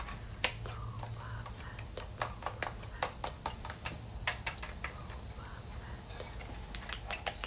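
A hand-held, hollow Boba Fett LEGO helmet built from ABS plastic bricks, with a green dome and a red and black visor, is tapped and scratched with dark-painted fingernails. A quick series of sharp, bright plastic clicks sounds over faint scratching and a low background hum, each tap dying away almost instantly.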